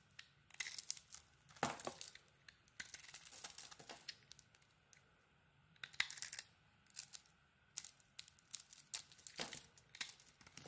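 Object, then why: Bar of soap. A solid orange bar of soap with a red glitter coating, held in the hand, is carved with a utility blade, cutting and shaving off chips. The sound is a series of crisp, bright scraping and crackling bursts with quiet pauses between strokes. Each cut ends abruptly with no ring.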